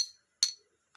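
A piece of treated Burmese jadeite, the cheapest type, is tapped, giving two short, bright, high-pitched clinks with a ringing tone that dies away quickly, followed by a faint click. The jadeite looks vibrant, but its dull, short ring marks it as treated and therefore fake.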